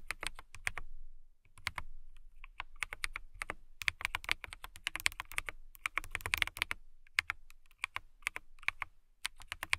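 Long nails type rapidly on a clear acrylic mechanical keyboard with transparent housing and clear RGB-lit keycaps. The sound is bursts of sharp, bright clicks and clacks centered around 2.2 kHz, with very short decay and brief pauses between runs.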